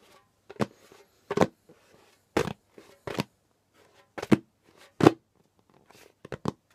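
Flat fingers and fingertips tap and pat the pale skin head of a djembe drum in a loose, irregular series of short, dull thuds. Each pat has a mid-low body and a brief bright slap edge that dies away almost at once.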